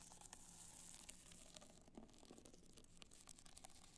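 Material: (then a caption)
Rhinestone. Long black nails scratch across the crystal surface of an upright black multicolor rhinestone hard-shell clutch. The result is a quiet, steady stream of fine, bright, crackly scratching with quick little clicks scattered throughout, over a faint low hum.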